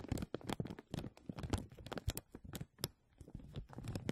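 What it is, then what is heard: Thin plastic film, crinkled. A thin clear plastic film is stretched over the mesh dome of a microphone while fingernails of both hands scratch and crinkle it. The result is a dense run of close, dry crackles and scratchy rustles, heavy in low, muffled thumps, with brief bright ticks and a short quiet gap near the three-second mark.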